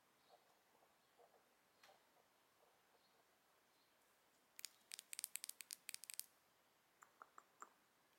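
Long nails tap the gold frame of a small, open, square single eyeshadow compact with a gold metal finish, a mirror lid and a gold eyeshadow pan, held hollow and close. Faint soft ticks come first, then a quick run of sharp, bright, dry clicks with almost no ring, followed by a few more scattered taps.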